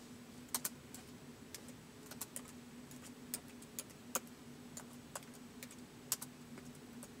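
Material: Plastic.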